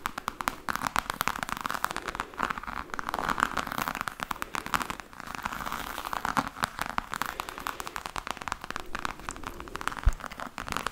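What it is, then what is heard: Faux leather hard case tapped and scratched with nails. Long nails tap and scratch rapidly over a hollow, black, glossy croc-pattern faux leather hard case. The result is a dense stream of short, dry crackling clicks with brief pauses, centered in the low mids around 1 kHz, with a sharper, louder tap near the end.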